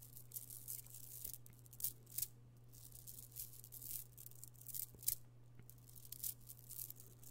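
An amethyst stone chip bead necklace, a strand of small solid purple stone chips, is piled into an open palm and stirred and rolled with the fingertips so the chips click together. Bright, irregular bursts of clicking and rattling come and go over a steady low hum, with a few sharper clicks standing out.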